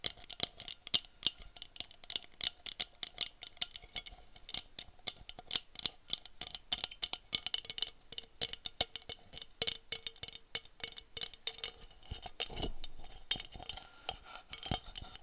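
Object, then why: Textured glass goblet. Long nails tap and scratch the patterned surface of a hollow, empty blue textured glass goblet held close to the microphone. Dozens of quick, bright, clicky taps come in irregular bursts, each dying away almost instantly, with a faint glassy ring underneath. Near the end, a softer stretch of scratching rasps across the textured glass.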